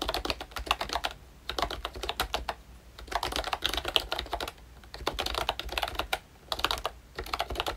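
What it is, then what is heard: Plastic membrane keyboard with round keycaps. Fingertips type on a full-size ROYCHE Disney Mickey Mouse retro membrane keyboard with a hollow plastic case and round plastic keycaps. Quick bursts of bright, short plastic clacks arrive in rapid runs, separated by brief pauses. The keystrokes sound light and hollow, with little low end.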